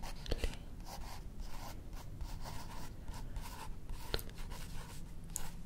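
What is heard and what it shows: Long manicured fingernails and fingertips slowly trace and rub across a printed page of an open illustrated paper cookbook held up close. The result is a soft, continuous scratchy rustle with a low rumble underneath. A few sharper ticks stand out, one near the start and one past the four-second mark.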